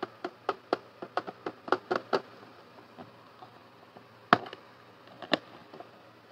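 A medium-size clear plastic storage box with a blue handle and latch, filled with pink toy parts, is tapped with fingertips and nails on its lid and sides. About a dozen short, dry, hollow taps sound, coming in a quick run at first, then a few sparser, sharper knocks. Each tap dies away almost instantly with no ring.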